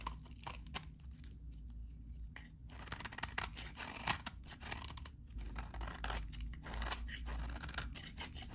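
A metal utility blade cuts crunchy shavings from a solid, very dry, vintage salmon-orange bar of soap. Repeated bright, crisp scraping and crackling strokes come in quick bursts over a steady low hum, with a few sharper snaps along the way.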